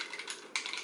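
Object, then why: Bottle of liquid foundation with a mixing ball. A bottle of Urban Decay Naked Skin liquid foundation in shade 9.75 is shaken so the mixing ball inside, like the ball in a spray paint can, blends the liquid back together after sitting for a while. A quick, bright, clicky rattle is heard, centred around 2.3 kHz, with a louder burst partway through and very short ring.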